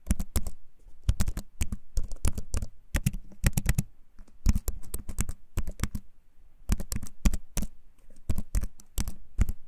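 A compact wooden keyboard, held up in both hands close to the mic, is typed and tapped quickly across its keys with the fingertips. Rapid dry clicks and low, woody thumps come in bursts separated by short pauses, each tap dying away almost instantly.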